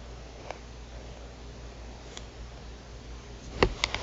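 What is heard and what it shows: Long nails tap the buttons and edge of a black plastic TV remote control lying on a mat. Six short, sharp, bright clicks: two isolated ones early on, then a quick cluster of four near the end, over a quiet, steady low hum.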